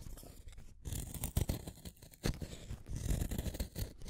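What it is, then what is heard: Wooden pencil being shaved. A small, solid blue wooden colored pencil is shaved with a yellow utility knife blade over a pile of shavings. A quick series of dry, rasping scrape strokes follows, mostly low and muffled with little high-end hiss. Each stroke stops short, with no ringing after it.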